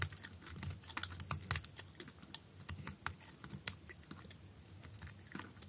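A utility knife blade shaves thin flakes from a thin piece of blue perforated bar soap held in the hand. It makes a quick, irregular run of crisp, bright scraping clicks and crackles over a soft low rumble, with a few sharper snaps standing out.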